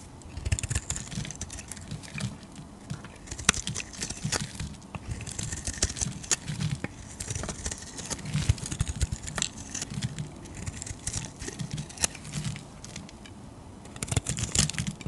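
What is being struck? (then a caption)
Solid bar soap cut with a metal blade. A solid oval purple bar of soap held in the hand is shaved with a metal utility-knife blade. The result is a steady run of dry scraping and cutting sounds, with many short, crisp ticks and crumbly bright edges over a soft low rumble.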